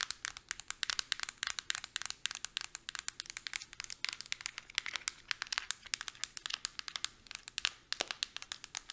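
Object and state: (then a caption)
Plastic deodorant stick. Long nails tap quickly along the body and cap of a Suave deodorant stick with a hard light-blue plastic casing, held sideways. The result is a fast, steady stream of sharp, bright plastic clicks with almost no ring and nothing low in the sound.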